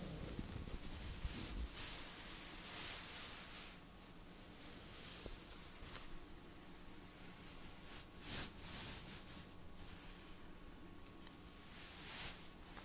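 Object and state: Nothing is struck.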